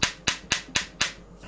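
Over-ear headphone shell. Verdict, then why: Solid. Five sharp, bright taps on the over-ear shell of genuine Apple AirPods Max headphones, each with a brief ring that fades quickly. The headphones sound fairly solid, consistent with their fully populated interior.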